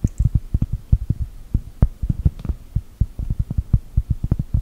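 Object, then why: Thin cork coaster. A large, thin, solid round cork mat printed to look like a cookie is tapped and scratched with long gel nails. The result is a rapid run of separate, dull, low thuds with almost no ring, nearly all their energy deep in the bass, and only a faint scratchy hiss between them.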